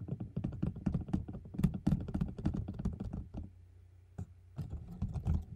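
A closed white cardboard gift box, held in both hands, is tapped on its sides and top with nails and fingertips. The result is a fast, uneven patter of short, dry, low thuds that sounds like typing on a keyboard. It pauses briefly near the middle with one lone tap before resuming.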